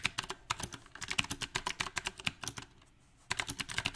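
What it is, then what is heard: Mechanical keyboard with round plastic keycaps. A compact backlit mechanical keyboard with round plastic typewriter-style keycaps is typed on quickly with the fingertips of both hands. About two dozen sharp, bright clacks come in an uneven rhythm, with a brief pause of near silence before the fast typing resumes.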